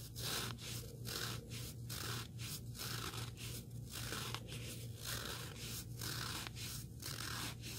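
A small, solid, rectangular black sanding sponge block with an abrasive surface is held in both hands while fingertips and nails scratch and rub along it. The result is a steady run of rhythmic, bright, gritty scraping strokes, each separated by a brief pause. A low, constant hum sits underneath throughout.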